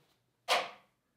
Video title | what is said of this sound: What CLUBS do I use? | they sound like plastic toys